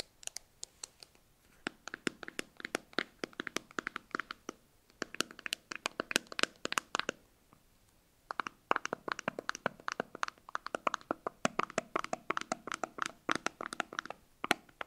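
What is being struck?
Small plastic tub with screw lid.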